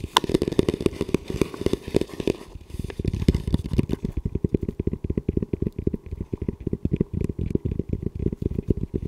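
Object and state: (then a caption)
Composite tactical helmet. Fingertips tap and scratch the shell and front mount of a hollow, camo-covered composite tactical helmet with a velcro strip, held upright in front of the chest. A steady run of quick, dull, hollow-sounding low taps plays throughout, each dying away almost at once. It is mixed with faint crackly scratching that is denser in the first few seconds.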